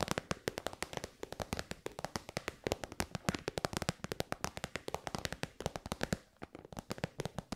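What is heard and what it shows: Long white nails tap quickly on a hollow, shiny pink metallic faux-leather pouch made of synthetic material. The result is a rapid, steady run of short, dry, crisp clicks with a bright edge and no ringing.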